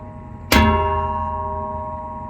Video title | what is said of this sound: Welcome to the Vlog: Activities with Dwarf | Hear how it rings? That reverberates the wonderful noises this automobile makes.